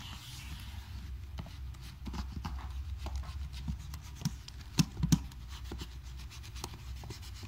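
A blue microfiber cloth, held in the fingertips, is wiped across the plastic keys of a gold HP laptop with an aluminium deck, lightly pressing them as it goes. The result is a steady, soft, low rubbing and scratching with faint irregular key clicks, plus a few sharper taps near the middle.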